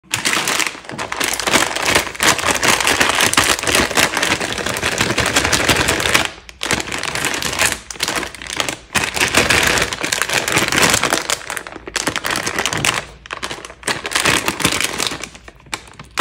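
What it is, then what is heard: Metallized plastic snack bag of chocolate-covered almonds. A small printed metallized plastic film snack bag, full of chocolate-covered almonds, is held in both hands over a countertop while fingertips tap, rub and crinkle it and begin to pinch the top seal. The result is a dense, bright, crackling rustle with very little low end, running almost continuously with a few brief pauses.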